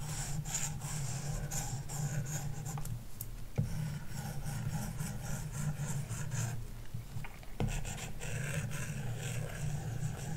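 A plastic stylus tip draws long, scratchy lines across a large iPad glass touchscreen fitted with a matte screen protector film. The steady, soft rasping strokes sit over a constant low hum, with brief sharper taps or ticks near 3.6 and 7.6 seconds.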